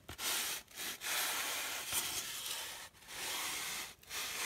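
Long dark-painted nails scratch and rub a hand-sized block of solid white polystyrene foam packing, with a matching foam piece lying still beside it. Six bright, hissy scraping strokes, separated by brief pauses, carry almost no low end.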